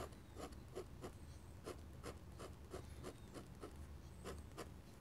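A metal pen nib scratches short, dense hatching strokes across a sheet of thick drawing paper lying flat. Quick, dry, bright scratches repeat in a steady rhythm over a quiet, low background rumble.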